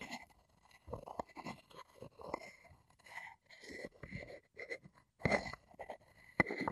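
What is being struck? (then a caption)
Wooden mortar and pestle. A wooden pestle scrapes and rubs inside a light, hollow, empty wooden mortar and along its rim. The result is slow, irregular bursts of dry scraping and rubbing over a faint ringing tone near 2 kHz. A sharper knock lands near the end.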